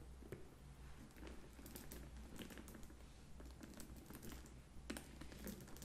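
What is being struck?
Faux leather handbag.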